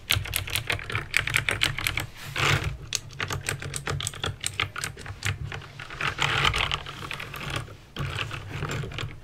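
Fingertips with painted nails press keys one at a time on a backlit plastic mechanical keyboard with clicky green switches. A fast, steady stream of sharp, bright clicks rings out over a constant low hum, with denser bursts of typing near the 2.5 and 6.5 second marks.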